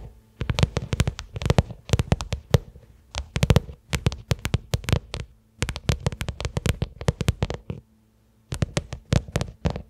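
A small, flat black pebbled-leather case or wallet lying on carpet is tapped and scratched with the long manicured fingernails of both hands. Rapid clusters of short, crisp clicks with a soft, low thumpy body sound over a faint steady low hum. The clusters are separated by brief pauses, including a near-silent gap just after 8 seconds.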